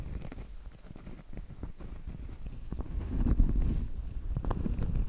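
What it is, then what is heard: Cork trivet tapped and scratched. Long light-blue acrylic nails tap and scratch the front face of a large, thin, flat, solid round cork trivet board. Soft, dull, uneven taps mix with a low rustling scrape that stays mostly in the low range. The scratching grows slightly louder and denser in the second half.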